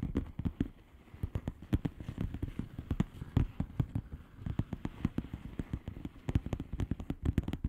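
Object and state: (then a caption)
Plastic bubble wrap envelope. Long polished nails tap and scratch across the bubbles of a flat, hollow plastic bubble-wrap mailer lying on a surface. The result is a dense, irregular stream of quick, dull, low taps with soft crackly scratching between them, each tap dying away almost instantly with no ring.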